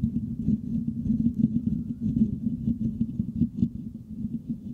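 Fingertips and short nails of both hands scratch close up on the hollow, rounded metal mesh grille of a white Blue Yeti-style USB microphone. The result is a dense, muffled, rapid scratching patter that is heavy in the low end around 200 Hz, with almost no bright content. It sounds steady throughout with small irregular bursts.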